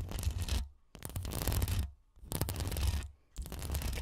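Long acrylic nail tips rapidly scratch the hollow, woven metal mesh grille of a bare Rode NT1 condenser microphone. Four bursts of dense, gritty scraping are separated by short silent gaps, with a heavy low rumble underneath and bright hiss on top.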